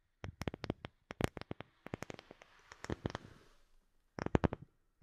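A round, light-colored, palm-sized wooden disc that looks solid is held over the microphone and tapped and scratched with long fingernails. Quick, dry clicking taps come in bursts with almost no ring. Around the middle, a soft, hissy scratching runs under the taps, then a short pause comes before a final flurry of taps.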